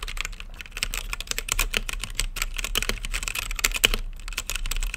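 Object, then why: Mechanical keyboard with plastic keycaps. Fingertips type steadily on a mechanical keyboard with plastic keycaps and a clear acrylic lit case. It makes a rapid stream of short, bright, clacky keystrokes that peak around 3 kHz, over a steady low hum.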